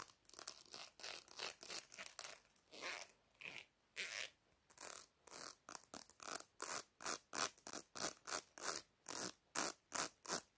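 Long black-painted nails scratch and flick along the fine teeth of a small, solid black plastic hair comb held in one hand. The result is a fast, somewhat uneven run of short, bright, dry zipping rasps, about three per second, with almost no low end and no ring after each stroke.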